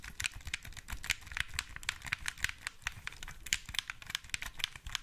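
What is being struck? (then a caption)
Hollow plastic game controller. A black wired Xbox 360 plastic controller, hand-sized and hollow, is held in both hands in front of the mic while fingertips tap and click its buttons and shell. The result is a rapid, uneven run of short, dry plastic clicks and taps that die away almost at once. They have a bright, crisp tone centered around 2.3 kHz with a faint low thump beneath.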